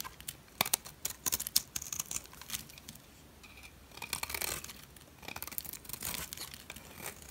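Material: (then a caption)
Soap. A metal utility blade scrapes the edge of a solid turquoise dry soap bar, shaving off curls. It makes quiet, bright, crisp crackling with rapid ticks and short bursts of scraping hiss, with almost no low end.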